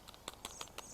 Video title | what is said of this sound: Agricultura 07 Cuando cosechar y cómo lograr más de lo que está creciendo | tapping at the rattling of the beans inside so that means the beans are ready